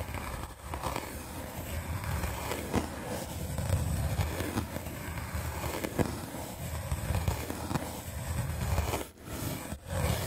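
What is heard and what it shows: A small red-handled paint brush with dark bristles is scrubbed quickly across the top of a solid, white rectangular melamine foam sponge held in the hand. The result is a dense, continuous scratchy brushing with a heavy low rumble, broken by a few brief sharp clicks and short dips near the end.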